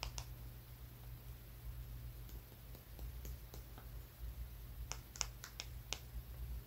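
A small, solid, dark brown rock is held between the fingers and tapped with the fingertips and nails of the other hand. Soft, bright clicks and taps come in scattered bursts, clustering near the end, over a steady low hum.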